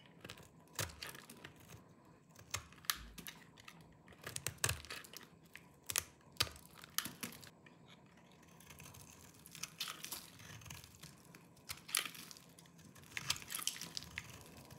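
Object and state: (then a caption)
Dry soap bar. A small knife with a yellow-tan blade shaves and scrapes the surface of a hand-sized solid bar of dry green soap held in one hand, sending crumbly flakes falling off. Irregular bursts of dry, bright, crackly scraping and crunching come in quick clusters over a faint background, each stroke short with no ringing.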